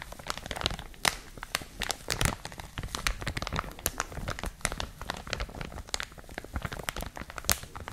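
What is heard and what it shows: A clear plastic packaging bag is crumpled and crinkled in both hands with long manicured nails. The result is a steady stream of dense, bright crackles and sharp crinkles, with a few louder pops standing out among the rustling.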